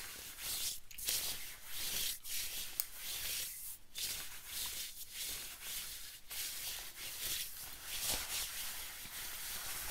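Fingertips and nails scratch and rub a worn yellow and black camo-print synthetic nylon/polyester zip-up windbreaker jacket at the shoulder and chest. The thin shell gives off a continuous bright, hissy scratching with rhythmic strokes and brief pauses throughout.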